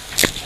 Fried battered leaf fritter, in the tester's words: Wow, kriuk banget tuh. Sampai lebur kayak gini.